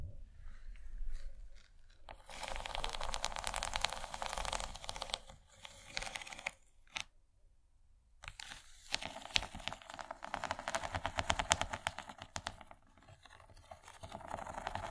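An empty, rigid yellow plastic serving tray shaped like corn, with ridged kernels, is scratched and tapped along its far ridge by long fingernails. Dense, bright, crackling scratches come in two long bursts with scattered sharp taps. A brief quiet gap falls between them, and the sound fades out softly at the end.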